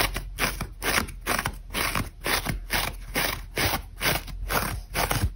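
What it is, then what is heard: Dry, brittle foam sponge. Long acrylic nails scratch aggressively into a hand-sized, dry, brittle grey-beige foam sponge held in one hand. The sponge is solid and porous, with its scouring layer already removed. Fast, repeated, crunchy scraping bursts come about twice a second, each broad and bright with a low thump beneath, leaving grooves and crumbs in the foam.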